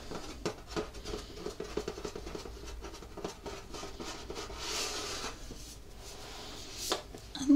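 Fingertips tap and rub across the lid of a hollow, rectangular printed metal Scottish shortbread tin with a fox and winter scene, held against the chest. Light, quick taps with a soft hollow tone mix with dry scratchy rubbing, and a brushing swell rises midway. The clip ends on a sharper, louder contact.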